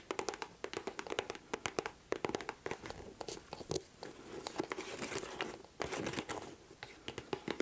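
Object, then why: Leather boot upper. Long nails tap and scratch the upper of a white leather boot held up close. A quick, uneven run of sharp, bright clicks is layered over soft scratchy rustling with a faint mid-pitched tone, each tap dying away almost instantly. The sound stays quiet and close throughout.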